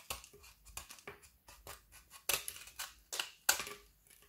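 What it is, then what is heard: Frozen white chocolate bar shaved with a knife. A frozen white chocolate bar segment with colored candy dragees, held in the hand, is scraped and shaved repeatedly with a small kitchen knife over a wooden board. About ten short, dry, bright scraping crunches come at an uneven pace, each dying away quickly, with the last few sharper and louder. A pile of shavings builds up on the board.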